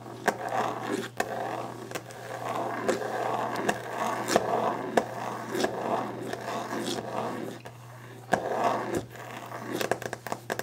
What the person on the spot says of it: Sounds: Fast/Aggressive Tapping and Scratching a Wooden Desk! ASMR